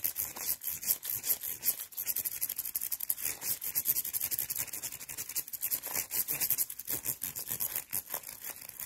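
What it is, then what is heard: Rhinestone mesh bag being brushed. A gloved hand holds up a small, flat rainbow mesh bag covered in rows of faceted plastic or glass rhinestones with a metal chain, while the other gloved hand brushes and scratches across the gem surface with a wooden-handled brush. The result is a rapid, continuous run of bright, crisp, scratchy strokes, dense in the high range, with almost no low end.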